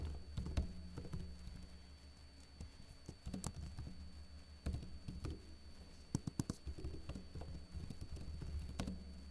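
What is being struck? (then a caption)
Plastic laptop keyboard. Fingertips with short blue-painted nails lightly tap the hollow keycaps of a backlit plastic laptop keyboard. The soft, dry clicks come in irregular bursts and clusters, each dying away almost at once. A steady low hum sits underneath throughout.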